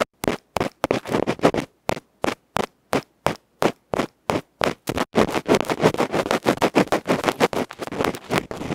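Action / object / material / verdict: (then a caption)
scrape / aluminium microphone capsule scraped with a bamboo pick / aluminium / none. A bamboo ear pick scratches a small, hollow aluminium electret microphone capsule with a black felt face, held in the fingertips. Short, dry, broadband scratching strokes come as spaced bursts at first, then speed up into dense, rapid, irregular scraping. Each stroke has a loud, close crackle and no ring.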